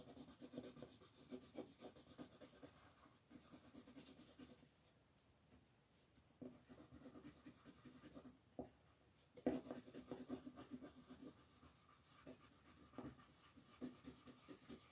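A light colored pencil rubs a flat paper coloring book page on a table in short strokes near the character's head, with long purple nails resting on the page. Quiet, dry scratching and rubbing comes in bursts, with a calmer stretch early on and a few sharper scrapes later.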